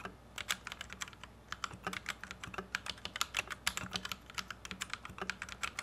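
A white compact plastic Royal Kludge RK71 mechanical keyboard with Gateron Red switches, resting on a felt desk mat, is typed on with the fingertips of both hands. A steady, uneven run of short, crisp keystroke clacks is heard, bright and dry with almost no ring, over a faint low hum.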